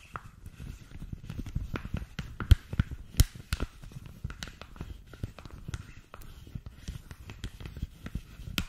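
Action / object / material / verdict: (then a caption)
tap / rolled thin polypropylene sheet protector / plastic / none. Long nails tap and scratch along a thin, clear polypropylene punched sheet protector rolled into a tube. Soft, low, hollow thumps mix with quick crisp clicks and faint bright scratches. The taps come in an irregular patter and stop dead with no ring.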